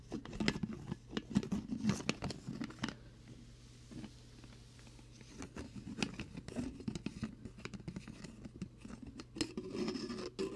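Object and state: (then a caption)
Plastic shaker bottle tapped. Fingertips tap on a hollow, translucent plastic protein shaker bottle with a blue lid, held beside a binaural microphone. Quick, dry, hollow taps come in uneven bursts, with a quieter stretch in the middle. A faint steady low hum sits underneath throughout.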